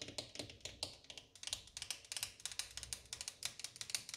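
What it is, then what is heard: Laminate countertop tapped with fingernails. Long orange acrylic nails of one hand tap and drum on a flat, solid wood-grain laminate kitchen countertop. The result is a quick, uneven run of sharp, dry clicks, bright and high-pitched, each dying away almost at once.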